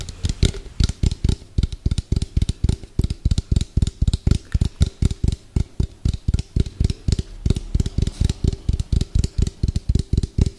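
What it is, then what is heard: Plastic food container tapped with fingernails. Fingernails tap rapidly on the outer wall of an orange hollow round plastic food container with a white lid, as it is moved from one side of the mic to the other. About 45 quick, dry, hollow knocks sound with a deep low thump and almost no ring, each followed by a faint bright click.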